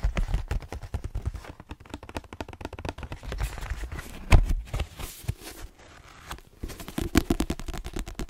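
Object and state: Paperback book tapped with fingernails.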